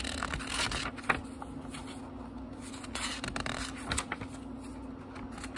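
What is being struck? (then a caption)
Small paper book pages. Fingertips quickly flip the thin paper pages of a small, thick book, making a run of soft, crisp rustles and light papery flicks with bright edges. A sharper snap of a page stands out near the start. A faint, steady low hum runs underneath throughout.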